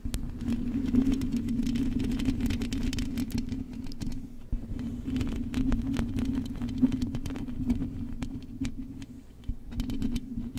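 Long acrylic nails on both hands scratch and tap the hollow metal wire-mesh grille of a silver condenser microphone. A steady low drone runs throughout under continuous scraping and rapid, sharp clicking taps, with a brief dip in loudness around the middle.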